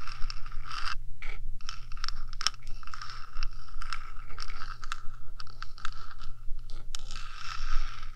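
Long dark nails scratch and tap on the top of the small, hollow, purple-painted metal body of a 3Dio binaural microphone. Dry, crisp scraping strokes and short taps come in quick, uneven bursts with a bright, hollow metallic edge over a steady low hum.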